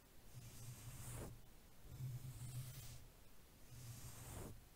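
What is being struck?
Nothing is struck.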